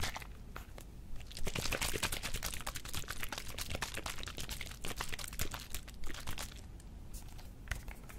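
A small plastic Listerine mouthwash bottle with liquid inside and a dark cap is held in one hand and shaken, with fingertips and nails on the bottle. The result is a fast, irregular stream of crisp, crinkly clicks and taps with bright edges over a steady low rumble.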